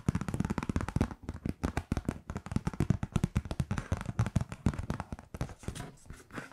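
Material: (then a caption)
Paper. Long painted nails tap and scratch across the surface of a flat kraft-paper Merry Christmas card printed with a heart wreath. A rapid, continuous run of dull, low-heavy taps mixes with dry scratching, and each hit dies away almost instantly.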